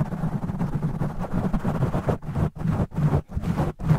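Fingertips of both hands scratch and rub aggressively on a black foam microphone windscreen, with the audio sped up 2x. It is a dense, muffled, low rumbling scrape with almost no bright content, continuous at first and then breaking into choppy bursts separated by brief silent gaps.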